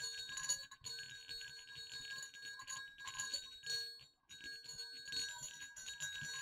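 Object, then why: Two small metal jingle bells on a cord. Two small, hollow, silver metal jingle bells on a cord are shaken gently over dark fabric. They give a steady, bright, high jingle with quick, short-ringing tinkles that pause briefly before resuming.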